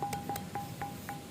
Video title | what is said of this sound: Misteri Gunung Padang, ada apakah di sana? | Ajaib ya, batunya bisa bunyi.